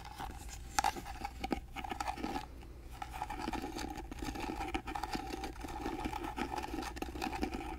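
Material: Wood.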